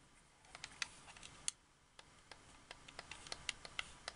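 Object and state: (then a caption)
Plastic game controller. Fingertips and painted nails click and tap the buttons and thumbsticks of a white hard-plastic wireless Xbox 360 controller with a hollow handheld shell. An irregular run of quiet, sharp, bright clicks follows, each dying away almost instantly over a faint steady hiss.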